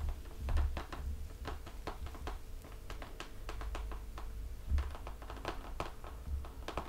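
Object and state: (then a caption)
Hardcover picture book cover. Fingertips of both hands tap quickly on the glossy green printed cover of a closed children's hardcover picture book, a solid laminated cardboard board cover over paper pages, lying flat on a table. The result is a rapid, continuous patter of soft, dull taps with a low, muffled thump underneath, each tap dying away almost at once.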